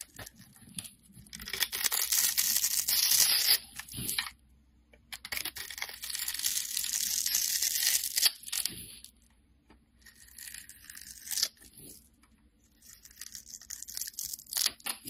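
A utility knife scores a solid yellow rectangular bar of soap held in the hand and scrapes off small cubes and slices. The result is bright, crisp scraping and shaving sounds in several bursts of a few seconds each, separated by short quiet pauses.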